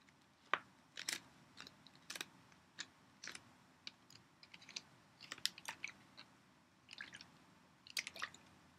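A clear PET Poland Spring water bottle, partly full of water, is tapped with long nails and then squeezed and crinkled by hand. Sharp, dry clicks and crisp crackles come in quick, uneven bursts over a low, quiet background.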